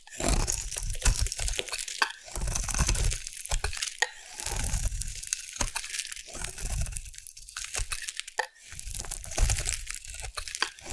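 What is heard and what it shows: A metal blade carves thin shavings from a solid white oval bar of soap. The result is a steady run of soft, dry crunching and scraping, with low thuds and bright crisp edges. Short pauses break it up throughout.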